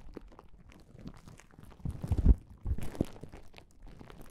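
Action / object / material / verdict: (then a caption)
scrape / plastic bubble wrap pouch / plastic / none. Fingertips and palms rub and press across the surface of a flat plastic bubble wrap pouch, making soft, dense crinkling and crunching. The rustle stays low and muffled, swells into louder, rougher crackling bursts midway, then settles back to a quiet crinkle.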